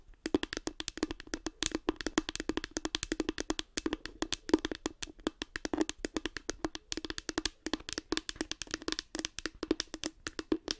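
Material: Plastic.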